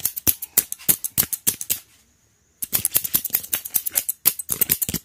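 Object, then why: Wooden hair comb. Fingertips scratch and flick along the long teeth of a solid, hand-sized, light-brown wooden hair comb held in one hand. The result is a fast run of sharp, bright, dry ticking bursts that die away almost instantly, broken by a brief silent pause before the flicking resumes.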